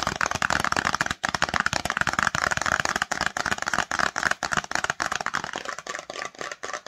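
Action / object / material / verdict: tap / small cardboard cosmetics box / cardboard / none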